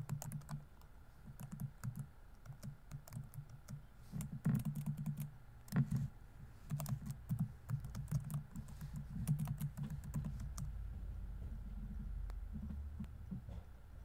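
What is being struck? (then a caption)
Plastic laptop keyboard keys. Fingertips rapidly tap the plastic keys of a laptop keyboard on a grey laptop body, typing in quick bursts. The soft, low clicks run nearly continuously, with a steady low hum beneath and brief bright ticks.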